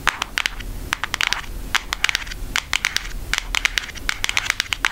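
A flat, thin brown cardboard Hershey's makeup palette is held up and tapped rapidly with long acrylic nail tips. It makes a quick, uneven run of dry, clicky taps that sound like typing. Each tap is bright and stops almost instantly over a faint low hum.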